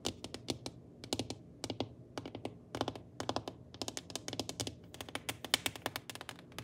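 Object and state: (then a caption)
Glass-ceramic stovetop, solid. Long painted nails tap and scratch across a large, flat, solid black glass-ceramic cooktop with burner rings. The result is a quick, uneven run of dozens of sharp, bright clicks that die away almost instantly, over a faint low background hum.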